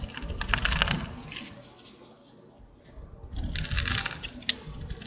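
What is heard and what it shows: A solid, dry green Old Spice bar soap held in the hand is carved and scraped with a small green-handled utility blade, shedding powdery shavings. Crisp, bright scraping and crunching bursts fill the first second, fade to near quiet in the middle, then return louder, with a sharp click near the end.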